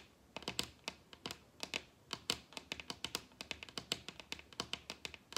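Long red acrylic nails tap rapidly on the surface of a large, solid wooden dining tabletop. About 30 quick, crisp clicks come in uneven bursts, each bright and dry with almost no low end and a very short decay.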